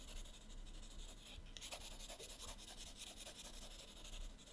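A teal colored pencil shades with rapid back-and-forth strokes on the right page of an open paper sketchbook. Soft, bright scratchy rubbing continues throughout, with a brief lull about a third of the way in before the strokes pick up again, slightly fuller.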